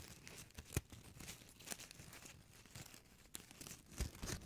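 A small, shiny gold foil-plastic ribbon gift bow is crinkled and squeezed between fingers with long nails right beside the microphone. Soft, continuous crinkling and crackling fills the clip, broken by sharper crunchy snaps with a low thump and bright crackle.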